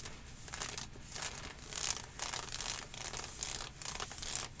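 Long nails and fingertips scratch up and down the ribbed thigh section of dark green ribbed athletic leggings, made of synthetic stretch fabric with mesh inserts and worn on the leg. The result is a steady stream of bright, hissing, rasping scratch strokes that swell and fade with each pass, with a faint low rumble underneath.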